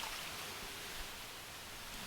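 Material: Nothing is struck.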